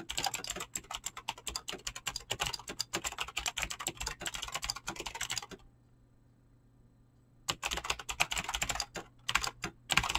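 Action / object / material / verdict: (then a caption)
tap / mechanical keyboard with clicky switches and PBT plastic keycaps / plastic / none. Fingertips fast-type on a mechanical keyboard with clicky green switches and PBT plastic keycaps, producing a dense run of sharp, bright clicks. The typing stops for about two seconds of near silence and a faint low hum, then resumes at the same quick pace.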